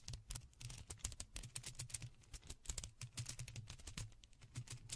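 Two strands of small white faux pearl beads, likely plastic, are held in both hands beside a microphone and gently shaken without touching it. The beads clack against each other in a quick, dense run of short, bright clicks that die away almost instantly, over a steady low hum.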